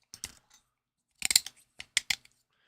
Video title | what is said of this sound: GAM 's Happy Accidents: #97 She-Hulk pt3, Movie Reviews, DST PTSD, Chillin' N Chattin'' | you guys probably can hear it crunching or clicking, but there's supports all in here cuz it's hollowed out. I can hear them shaking